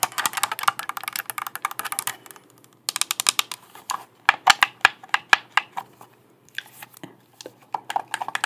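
Long black nails tap the shell and click the buttons of a hollow, hand-sized, light blue plastic Xbox controller. Rapid bursts of crisp, bright, dry clicks and taps come in quick runs with brief pauses. Each click is very short, with almost no ring.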